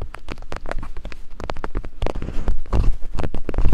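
Two wooden picks held by long-nailed hands tap and scrape over silicone ear-shaped binaural microphone capsules. The result is a quick, irregular patter of dull, heavy, low-pitched thumps with short scraping rustles between them. The sound grows slightly louder and denser toward the end.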